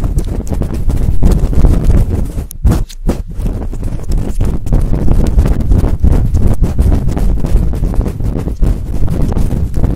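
Fingertips with long nails rub and scratch fast and hard over a large, fluffy synthetic-fur microphone windscreen held in both hands. The result is a loud, dense, low rumbling crackle with little high end. It pauses briefly near the three-second mark, then carries on steadily to the end.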